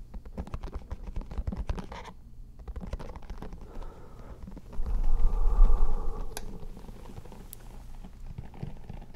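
Long painted fingernails scratch and strum across the dense bristles of a solid, handheld round-headed hairbrush with a lime-green plastic handle, held close to the microphones. A rapid, uneven patter of dry scratchy strokes runs throughout over a heavy low rumble. The sound swells into a louder, fuller burst midway before settling back to a steady scratching.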